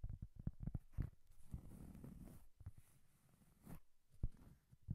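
Long painted nails tap a round, flat, solid cork coaster held close in front of the microphone, first in a quick run of dull, low, short taps. A stretch of soft, rough scratching follows, then a few more scattered taps.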